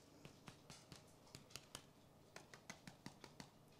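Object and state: Baked loaf sounds hollow, so it is done.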